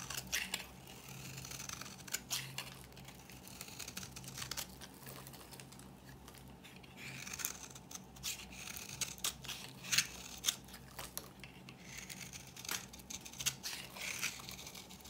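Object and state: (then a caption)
Dry bar soap being shaved. A metal blade scrapes a dry, solid yellow bar of soap held in the palm, shaving off dry flakes. Quiet, bright, crisp scratching and crumbling sounds repeat in quick, uneven strokes over a faint low hum.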